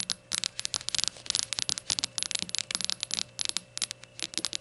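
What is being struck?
Small glazed ceramic shot glass.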